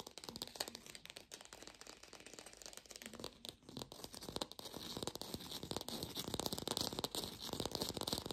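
Long nails rapidly tap and scratch an artificial lemon, probably plastic or foam. The sound is a dense, uneven stream of quick, dry clicks and crinkly scratching. The clicks are mostly bright and high-pitched, with little ring after each hit.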